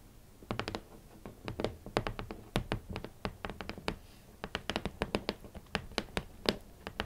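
Long manicured nails and fingertips tap on the lid of a large, closed, hollow red cardboard Valentino boot box, giving around thirty quick, uneven taps over seven seconds. Each tap pairs a bright, clicky nail attack with a soft, hollow low thump from the box and dies away almost at once. The taps sit over a faint background hiss.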